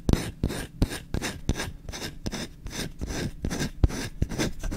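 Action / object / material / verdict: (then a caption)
scrape / small wooden kitchen spoon / wood / none. Short-nailed fingertips scratch fast across the grain of a small solid wooden kitchen spoon's bowl, held up close to the mic. It makes a quick run of dry, rasping strokes, each a short broadband burst with a heavy low-end thump and little ring, repeating steadily throughout.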